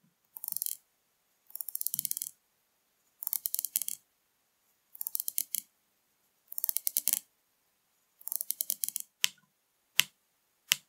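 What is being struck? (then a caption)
Plastic drink bottle. Long painted nails tap and scratch the label and cap area of a full, upright 500 ml blue PRIME plastic drink bottle filled with liquid. Six short bursts of rapid, bright, dry clicking and scratching are followed by three single sharp taps, each cut off almost instantly with no ring.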